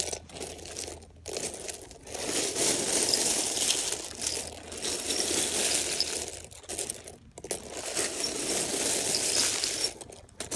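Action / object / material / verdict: shake / small plastic and metal sewing buttons in a loose pile / plastic, metal / none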